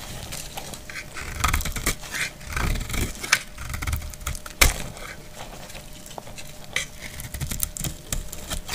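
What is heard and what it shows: A solid translucent green glycerin soap bar, held in hand, is shaved with a utility knife blade, and crumbly green shavings fall away. Dry scraping and crisp, clicky cuts come through with bright edges and a low rumble underneath, and a few sharper snaps stand out.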